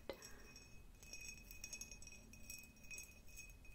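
Long nails tap a clear, hollow, empty cut-glass jar with a diamond pattern. The result is a run of quiet, bright glassy clinks that die away almost at once, over a faint steady high ringing tone and a low background rumble.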